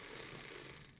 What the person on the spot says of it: during inhalation you should hear the capsule rattle as it spins inside the inhaler